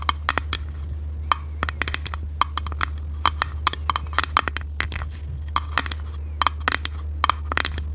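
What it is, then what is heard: Clear plastic compartment box. A small, hollow, clear plastic organizer box with compartments and a white lid is held in the hands and tapped and scratched with long red nails. Quick, sharp plastic clicks and taps sound in an irregular run, with a bright, hollow ring near 1.2 kHz, over a steady low hum.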